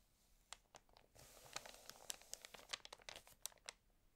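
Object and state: Glossy paper magazine.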